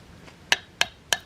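A knife is tapped three times on the rib bones of a fish being filleted. Each tap gives a short, hard, bright knock with a tonal ring near 1.8 kHz that dies away almost at once. The firm knock shows the fish is solid bone through the ribs, which is why these fish are hard to fillet.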